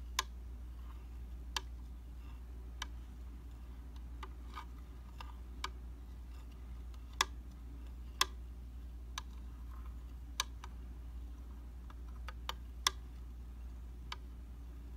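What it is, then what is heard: Glass mirror tapped with metal. A round glass tabletop makeup mirror of solid flat glass is tapped with the rounded end of a shiny metal tool, producing a slow, irregular series of sharp, bright ticks. Each tap is a short, dry click centered near 1 kHz that dies away almost instantly, over a steady low hum.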